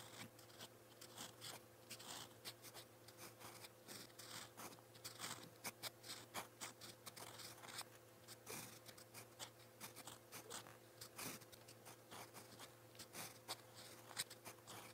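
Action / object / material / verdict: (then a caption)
scrape / metal fountain pen nib on a paper notebook page / paper / none. A gold-toned metal fountain pen nib writes in purple ink across a lined white page of a spiral notebook, giving a steady run of quick, bright scratching strokes with short pauses between words. A faint, steady low hum sits underneath.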